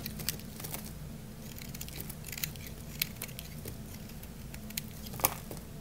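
A craft-knife blade scrapes a solid, dry orange bar soap, shaving off fine curls. Quiet, crisp scratching and crackling ticks flicker across the high range, with a few sharper clicks standing out over a steady low hum.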